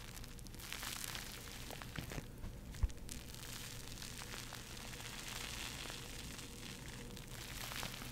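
A porous foam bath sponge is squeezed and scratched with long nails, making a steady, dense crackling and rustling over a low, constant background rumble. Scattered brighter scratches and small pops rise briefly from the texture, with one sharp click near the middle, and the level stays fairly even throughout.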